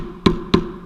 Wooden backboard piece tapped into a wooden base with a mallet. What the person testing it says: the sound goes from a hollow sound to a much more solid thud